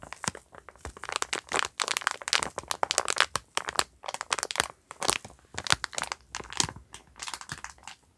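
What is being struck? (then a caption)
Sponge pack in plastic film wrap. A yellow sponge pack in clear plastic film wrap with a cardboard label is held up and squeezed and crinkled with the fingers. Dense bursts of bright, crackling plastic crinkle come in quick irregular clusters, with almost no low end and no ring after each crackle.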